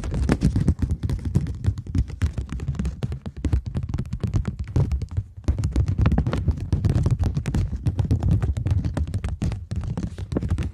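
A polymer plastic £20 banknote is bent between both hands while long nails tap and scratch along its edge and face. A dense, rapid stream of soft, dull taps and scratchy rustles runs steadily for about eleven seconds, with a brief pause near the middle. The sound is low and thumpy, with very short, dry decays.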